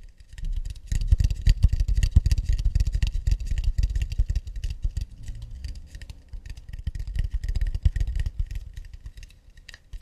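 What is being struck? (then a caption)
Acacia wooden plate. Long nails tap quickly across the underside of an empty, round, hollow acacia wood plate held in both hands. The result is a dense, uneven patter of soft, low, woody thumps with bright clicky nail edges. The taps are short and dry, with little ring.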